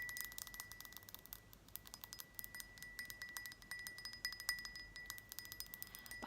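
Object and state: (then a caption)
Glass jar. A small Egyptian-style decorative glass jar is tapped in rapid, irregular succession, producing bright, glassy clinks and a sustained chime-like ring around 2 kHz. Holding the jar at one particular spot lets the glass ring more.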